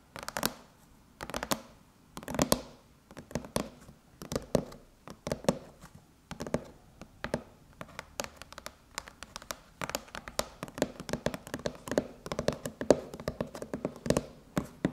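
Long chrome nails tap on both sides of the Apple logo on a closed silver aluminum MacBook lid, sounding its hollow shell. Quick, dry, hollow clicks with a midrange ring arrive in short bursts at first, then become a faster, denser stream of taps.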